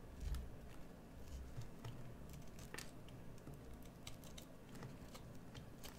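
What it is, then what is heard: Bar soap being carved. A solid green bar of soap is carved with a metal carving tool held in the fingers, scraping and shaving the surface. Quiet, irregular scratchy shaves with brief bright ticks sit over a steady low rumble.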